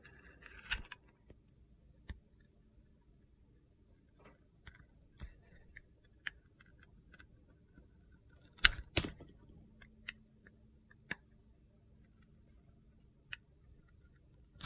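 A metal utility knife blade scrapes and cuts slices off the grooved surface of a handheld oval bar of solid red soap that is yellow inside. Quiet, crisp scraping and sharp clicking cuts come at irregular intervals over low background hiss, with a couple of louder crunchy cuts near the middle.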